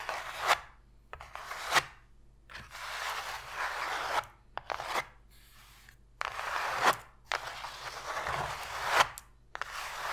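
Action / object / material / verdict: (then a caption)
scrape / cardboard box tray / cardboard / none. Long pointed nails scratch and tap the bottom of an empty, open white cardboard box tray, giving hollow, papery scrapes mixed with sharp taps. Bursts of dry, bright scratching alternate with short quiet gaps, with about ten distinct taps standing out.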